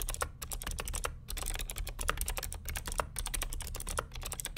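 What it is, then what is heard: Clicky plastic mechanical keyboard. Fingertips of both hands type continuously on the plastic keycaps of a vintage beige NMB RT8255C W+ mechanical keyboard with Hi-Tek "Space Invader" clicky switches and a hollow plastic case. A rapid, steady stream of sharp, bright clicks and clacks plays over a constant low rumble, with each keystroke dying away almost instantly.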